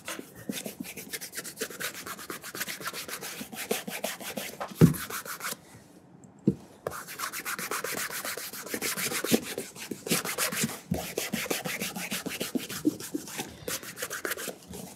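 A burgundy leather cap-toe oxford, held at an angle on a mat, has its upper rubbed with bare fingertips. Quick, steady rubbing strokes make a dry, bright, scratchy texture, broken by a short pause in the middle and a few soft bumps.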